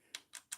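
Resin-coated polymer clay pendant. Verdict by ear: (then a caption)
Hard. Three sharp, high-pitched ticks come from a fingernail tapping the cured resin coating on a polymer clay bat-wing pendant. The clicks are bright and very short with no low end. The ticking comes from the resin, not the clay, showing the cured resin layer is hard and glossy.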